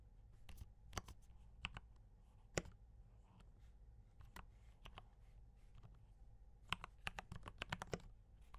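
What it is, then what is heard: Mechanical keyboard with plastic keycaps. Fingertips type on a D84 mechanical keyboard with brown switches and cream and red plastic keycaps. The result is a series of short, sharp clicks and clacks with bright tops, coming in irregular bursts over a steady low background hum.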